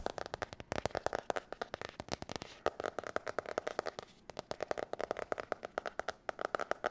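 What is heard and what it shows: A spiral notebook with a glossy blue marbled cover is held up and tapped and scratched with long nails. Fast, irregular, crisp taps with little low end and almost no ring are mixed with light scratchy rustling, pausing briefly near the middle before the tapping picks up again.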